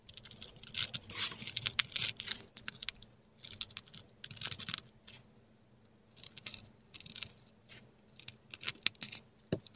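A metal dip pen nib writes letters in ink on a flat sheet of textured Korean paper, heard close up. Dry, bright scratching strokes come in short bursts separated by quiet pauses, with a faint low background hum and a sharp tick near the end.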